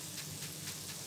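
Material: Nothing is struck.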